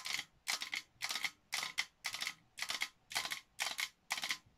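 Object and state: Metal tin canister tapped with fingernails.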